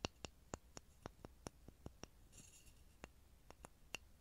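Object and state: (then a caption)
Pine wood block. A small solid pine wood block held in front of a mini microphone is tapped with fingertips, giving 15 short, dry, hollow knocks with almost no ring, irregularly spaced. A soft, bright scratchy rustle fills a pause midway through the taps.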